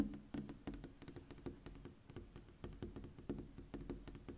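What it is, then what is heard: Glass window pane. Long pink fingernails on a gloved hand tap quickly on a large, flat glass window pane at night. The result is a quiet, rhythmic patter of short, clicky taps with a dull, low body and brief bright ticks, each fading almost instantly.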